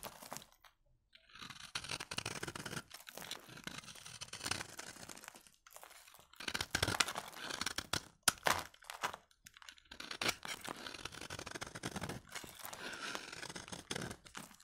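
A utility knife blade scrapes powdery shavings from the edge of a solid, dry orange-beige bar of soap held in the fingers. It makes a dry, crunchy, crackling scrape in repeated bright bursts, with short pauses between passes.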